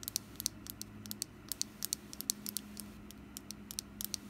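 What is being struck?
Small wax pumpkin candle.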